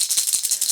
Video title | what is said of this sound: How I Made Hollow Fishing Lures That Look Factory-Made (DIY Roto-Molding Machine!) #LureBuilding | you can hear it's hollow. It's full of BB's